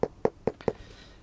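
A normal, healthy hiking boot sole is knocked four times in steady succession, checked against a dead sole. Each knock is a short, firm tap with a clear tone around 460 Hz and almost no ring. The sole sounds sound and normal.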